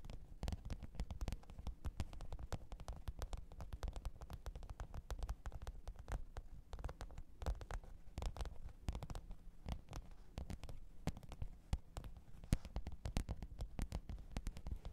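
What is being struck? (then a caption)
Faux leather hard-shell zippered case. Long pointed nails tap and scratch the top of a black, textured faux-leather hard-shell microphone case with a zipper, lying flat on fur. A steady stream of quick, dry, dull taps continues for the full 15 seconds, mixed with faint scratching. The sound is heavy in the low end, and each tap dies away almost at once.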